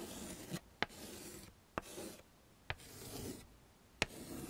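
A yellow chalk stick is scraped across a small, flat black chalkboard in a wooden frame, tracing letters. Gritty, rasping strokes alternate with brief quiet pauses. Four sharp, bright ticks from the chalk striking the board punctuate the strokes.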